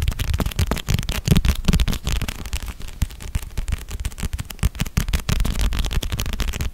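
Long red-painted nails tap and scratch across the glossy cover and edges of a solid red paperback novel. Quick, irregular taps with dull, low-heavy thuds and very short decay mix with brief, brighter scratching strokes throughout.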